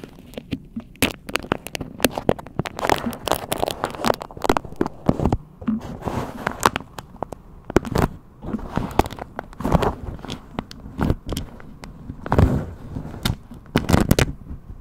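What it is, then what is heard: Fabric microphone cover being scratched. Long pink nails scratch a hexagon-print fabric cover over a round microphone head while fingers hold, rub and grip the cloth. Dense, dry crackles and scratchy rustles come in uneven bursts, heavy in low rumble with little high end, and each scrape dies away at once.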